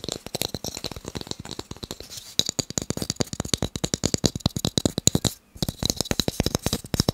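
Fast tapping on wooden blocks makes a rapid run of dozens of short, dry knocks with almost no ring. A low thump sits under each tap, topped by a bright click. The tapping stops briefly near the five-second mark, then carries on.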